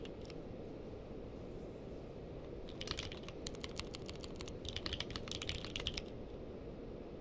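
Fingertips of both hands type on a purple-case mechanical keyboard with plastic keycaps, giving two quick bursts of sharp, bright key clicks. The clicks are short and dry, sitting over a steady low rumble that runs throughout.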